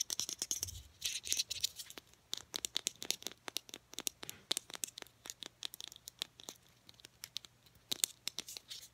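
Long painted nails tap and scratch a small Degree deodorant stick with a translucent teal hard plastic case and cap. The sound is a dense run of bright, crisp clicks and quick scratchy strokes that stop almost instantly, with brief bursts of faster scratching in between.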